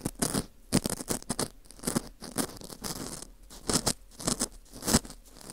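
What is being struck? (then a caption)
Dried wheat gluten (fu) ring scraped with a metal hook. A metal dental scaler hook scrapes inside the center hole of a dry, porous slice of dried wheat gluten fu ring. The result is a quick series of dry, scratchy, crunchy scrapes with bright, crackling texture and short, irregular bursts separated by brief quiet gaps.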